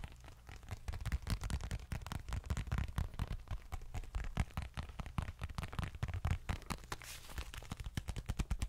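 A small dark leather bifold wallet is handled close to the microphone, scratched and tapped with long nails. Rapid, continuous taps and scrapes come through as dense, heavy low thumps, with faint crackling texture on top.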